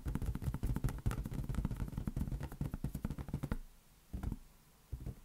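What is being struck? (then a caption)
Inflated latex balloon. A large, hollow, inflated green latex balloon is held near an open hand and patted with the fingers. A rapid run of dull, low, boomy thuds with very short decay lasts about three and a half seconds, then stops, and two more isolated pats follow.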